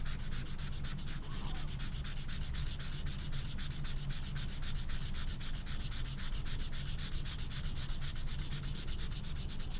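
An orange felt-tip marker is scrubbed in short, quick strokes over a small, flat velvet-flocked paper poster card held in the other hand. It produces a steady, rapid, raspy rubbing with a bright hiss on each stroke over a low rumble, continuing evenly throughout.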